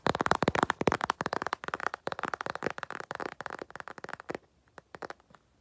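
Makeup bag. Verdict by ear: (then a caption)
Empty. An empty makeup bag is tapped quickly with fingers in a dense, uneven flurry of short, dry, crackly taps centered in the midrange. The taps are loudest and most crowded at the start, then thin out and fade into sparse, quieter taps near the end.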